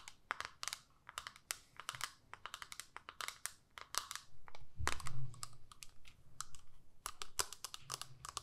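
Long nails tap and scratch the front and back of a small, flat, hollow plastic eyeshadow compact. Quick, irregular clicky taps with bright edges mix with brief scratching passes and a soft low hum, especially around the middle.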